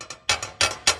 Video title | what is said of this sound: Building The Little Sliver - Ep.4 - Rigid TS3650 Table Saw Cleaning and Tuning | you can hear that it rattles when I tap this back corner